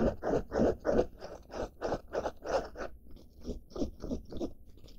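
Fingertips and nails scratch the side of a blue denim-fabric backpack held close up. A steady run of quick, rough, crunchy scratching strokes repeats about three times a second, with the strokes growing slightly softer toward the end.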